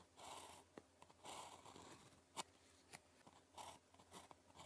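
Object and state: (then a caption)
Ballpoint pen writing on paper. The tip of a blue plastic ballpoint pen, held in the fingers, writes on a thin grid-printed calligraphy practice sheet lying flat on a desk. Quiet bursts of bright, papery scratching mark each stroke, separated by sharp little ticks as the pen taps and lifts between characters.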